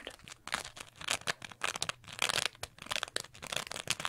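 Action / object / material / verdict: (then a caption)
scrape / small textured foam sponge / foam / none. A small green textured sponge, held close, is scratched and squeezed with long nails. Bursts of bright, crinkly scratching and crunching come in quick, uneven succession, with almost no low end and no ring after each stroke.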